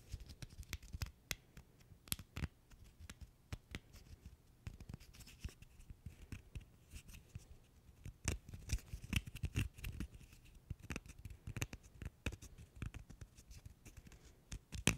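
A single small, solid cork wine stopper is held close to the mic and scratched and rubbed with the fingertips and nails. It makes a steady run of dry, quick scratching bursts and soft clicks that die away almost instantly, over a quiet, muffled low background.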